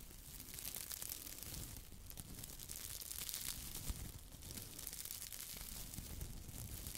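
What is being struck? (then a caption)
Foam sponge. A small, soft, squishy yellow porous foam sponge, held in one hand with long white nails, is squeezed and rubbed by fingertips close to the mic. It makes a continuous crinkly, crackling rustle with bright hiss and low, muffled pressing thumps, staying quiet and steady throughout.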